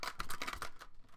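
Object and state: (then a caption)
DVD case with a loose disc rattling inside. A plastic DVD case for the 2015 Poltergeist film is shaken like a maraca, and the loose disc inside rattles against it in about six quick, clattery clicks. The rattles have a bright plastic tone centered near 1.2 kHz, with short decays that fade into near-silence at the end.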